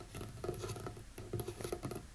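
A series of light fingertip taps and some scratching on a folding wooden tray table. Each tap gives a soft, low, woody knock with a brief ring and a faint bright click on top, scattered at an uneven, pattering pace across a quiet background.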